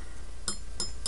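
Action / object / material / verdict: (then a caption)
tap / iron window weight / iron / none. Three light taps on an iron window weight sitting inside a coil each give a brief, bright metallic ring that fades quickly over a steady low hum. The ringing generates a voltage in the coil.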